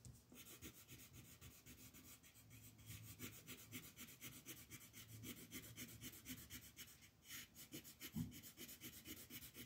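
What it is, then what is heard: Paper coloring page being shaded with a pencil. A green wooden colored pencil shades a thin printed paper coloring page lying flat on a wooden table, held down by a hand with long yellow nails, in fast back-and-forth strokes. The result is a steady, rhythmic scratchy rasp with a bright hiss over soft low rubbing, and a slightly louder bump near the end.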